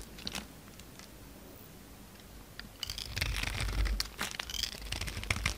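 A utility knife blade scrapes and shaves the gold embossed coating and soap powder off a palm-sized, solid, rectangular white bar of soap held in the hand. A few faint ticks come first over a quiet stretch, then dense, bright crunching and crinkling scrapes build and continue in uneven bursts to the end.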